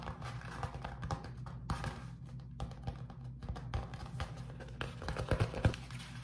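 A flat sheet of beeswax-coated cotton food wrap is held up, then scratched and tapped with fingertips and short nails before being folded and crinkled. The result is a steady run of soft, close, mostly low-pitched taps, scratches and crinkles with brief sharper clicks, each dying away almost at once.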